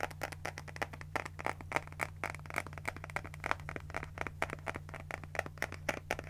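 A small pink spiral notebook has its cover scratched with long nails and its paper pages flipped. This makes a rapid series of sharp, dry, crackly ticks with bright edges and no ring, over a steady low hum.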